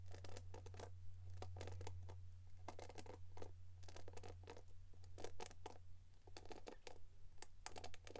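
A plastic paddle hairbrush is turned from its green printed back to its white face with a black cushion and bristles, then scratched with long pink nails. Quick, bright scratching bursts come in clusters, each dying away almost at once. A steady low hum runs underneath the whole time.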